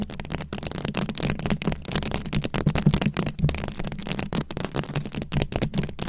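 Long acrylic nail tips scratch across a microphone ball covered in plastic rhinestone beads, working from both sides. The result is a dense, continuous stream of rapid clicky, gritty scratching with bright crackle and a heavy low rumble underneath, pulsing in short uneven bursts throughout.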